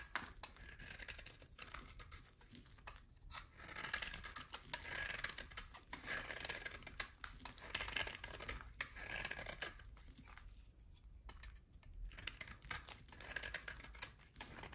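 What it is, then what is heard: Bar of soap being shaved. A utility knife blade shaves a solid oval bar of hard soap with a pale core and a black rim. Quick, dry scraping and crisp cutting sounds repeat steadily, bright and high with a papery, crackling texture. Each stroke ends sharply with almost no ring.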